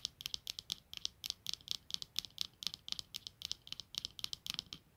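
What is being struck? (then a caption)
Plastic-framed eyeglasses. Long nails scratch and tap the clear lenses and black plastic frame of a pair of eyeglasses resting on a blanket, and the glasses are lifted and turned near the end. The result is a quick, uneven run of sharp, dry clicks and ticks, very bright and high-pitched with almost no low end, each dying away instantly.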